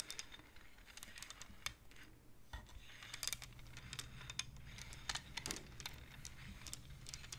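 Hands slide the wooden beads of a wooden abacus so they click against each other. The result is a quiet run of quick, sharp, bright clicks in irregular clusters, each dying away almost instantly, centered around 3.5 kHz over a low, steady hum.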